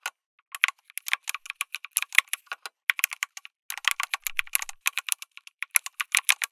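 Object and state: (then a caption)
Mechanical keyboard with plastic keycaps. Fingertips type continuously on a backlit mechanical keyboard with plastic keycaps, an FR4 plate and tactile switches. Dozens of quick, bright, clacky keystrokes come in an uneven rhythm, with a short pause around the middle. Each click is dry and dies away almost instantly, with almost no low end.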